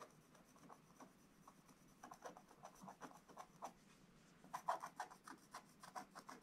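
A thin wooden stylus held in the fingers scratches the black layer off a flat, wax-coated scratch-art paper page in a book lying on a table, revealing the colours beneath. The sound is a quiet run of short, dry rasping strokes centred around 1 kHz, with sharper, louder scrapes near the end.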